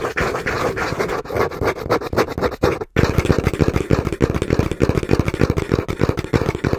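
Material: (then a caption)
Cardboard. Fingertips and short nails tap and lightly scratch the front face of a small, hollow brown cardboard box held in both hands. The result is a fast, uneven stream of dull, low, hollow thuds with a faint papery scratch over them, broken by a brief pause near the three-second mark before the tapping resumes.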